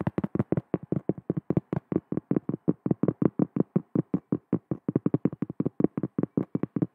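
Long nails tap and scratch the face of a large, round, flat cork trivet held close to the mic, producing a rapid run of about 39 short, dry, muffled knocks. Each tap is a dull low-mid thud centered near 320 Hz with almost no ring and no bright top end.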